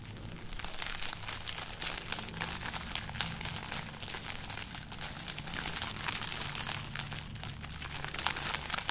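A hand holds up a string of dried red chili peppers with hollow, brittle pods, and fingertips and long nails scratch and crinkle them along the string. The result is a steady, dense stream of bright, crackly rustling with many small crisp snaps over a faint low hum.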